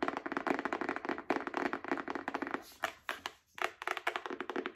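Long acrylic nails tap and scratch a small, solid paperback book with a card cover. Quick, dry, clicky taps come in dense bursts, mixed with brief scratching. Each tap dies away almost at once, with short pauses breaking up the runs.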